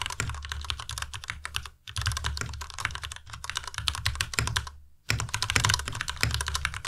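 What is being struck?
Plastic mechanical keyboard.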